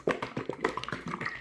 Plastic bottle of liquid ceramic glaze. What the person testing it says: you need to shake it and hear the sound of the glaze moving if you do not hear the glaze moving you want to shake it even harder